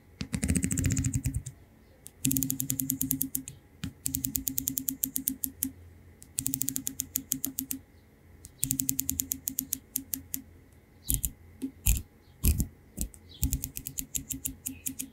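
Fingertips pluck and flick along the teeth of a large, solid yellow plastic wide-tooth comb held up in the air. The result is rapid runs of dry, bright clicking that come in a series of separate bursts, each rattling quickly like typewriter keys over a faint low hum. A few louder single snaps stand out near the end.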